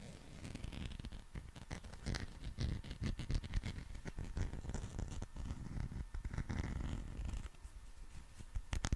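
A green, textured, soft rubber dinosaur figure is held in both hands while fingernails scratch along its ridged back and skin. The result is a steady stream of quick, dry, zipper-like scratching strokes, mostly low and muffled with occasional brighter scrapes, holding an even level throughout.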